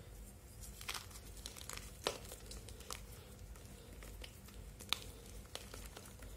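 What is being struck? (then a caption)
Dyed gym chalk block. Palm-sized solid blocks of blue-purple dyed gym chalk (magnesium carbonate) are squeezed and crumbled by bare fingertips over a steel bowl of chalk crumbs, with bits falling into the bowl. Dry, crisp crinkling and crumbling crackles come at an irregular pace, punctuated by a few sharp, bright snaps over a faint low background rumble.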